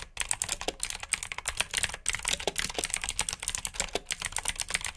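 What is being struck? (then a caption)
Plastic mechanical keyboard. Both hands type with their fingertips on a black backlit mechanical keyboard with plastic keycaps. The result is a fast, steady stream of sharp, bright clicking keystrokes that stop short with no ring, and there is little low end.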